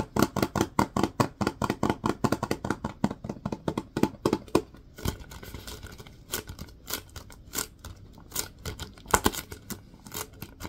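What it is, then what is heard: Plastic wipes canister tapped and scratched. Fingertips and nails tap and scratch the sides of a Lysol disinfecting wipes canister, a hollow plastic cylinder with a paper label and a white plastic lid. Quick, dry, hollow taps with a mid-range knock come in rapid runs for the first few seconds. They then give way to softer, brighter scratching broken by scattered sharper taps.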